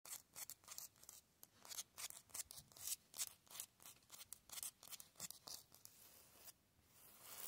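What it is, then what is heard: Concrete block wall. Fingertips and short nails scratch and tap quickly across the rough, porous surface of large, solid grey concrete cinder blocks in an outdoor wall. The result is a fast, irregular run of dry, bright, hissy scraping bursts with very little low end. It ends in a longer, steady rasp that swells toward the close.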